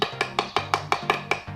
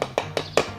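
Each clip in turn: First: Eight quick, light taps with a hollow, clacky tone on mortar that has come loose from the concrete beneath. Second: Four short, dull taps around mid pitch, dying almost at once: mortar that is well bonded to the concrete.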